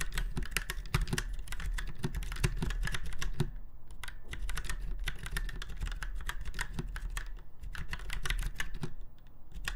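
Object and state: Mechanical keyboard typing.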